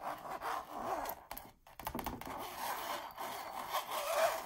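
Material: Canvas.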